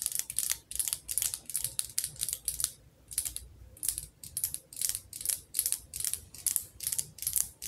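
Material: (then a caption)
Glass. Long fingernails tap fast on the glass side of a wax-filled candle jar with a metal lid. The result is quick bursts of crisp, bright clicking with almost no ring, separated by brief pauses.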